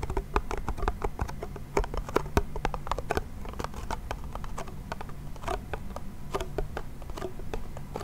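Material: Wood.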